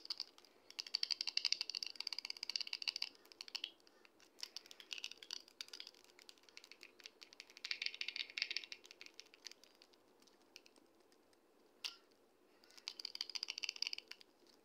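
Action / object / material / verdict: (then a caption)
tap / plastic pump bottle tapped with fingernails / plastic / none. A medium red Olay skincare pump bottle with a silver collar and black pump head, hollow and with its fill level not visible, is held up and tapped with long red acrylic nails. Bursts of rapid, dry, clicky taps come in four clusters with short pauses between, plus a single sharp click near the end, all bright and high with almost no low end.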